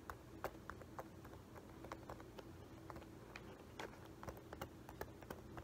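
A hollow, empty dark embossed leather-look loafer with a metal horsebit buckle is held in the hands while fingertips and nails scratch and tap its upper and buckle. Quiet, crisp clicks and taps come in an irregular stream over a soft scratching rustle and low background rumble, each tap dying away almost at once.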